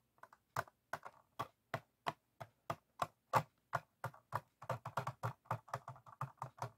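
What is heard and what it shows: An empty, clear, ribbed PET water bottle lies hollow on a wooden table and is tapped and scratched with the fingertips and nails of both hands. Quick, dry, hollow clicks with a soft low thump underneath each one die away almost instantly. The pace starts sparse and grows into a dense, rapid patter toward the end.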